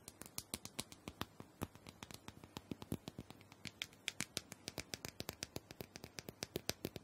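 Long nails tap and scratch the surface of a small, round, purple plastic dome massager, likely hollow, as it is turned in the hand. Dozens of quick, dry, bright clicks come in a steady, uneven patter, each dying away almost instantly, with faint scratching between them.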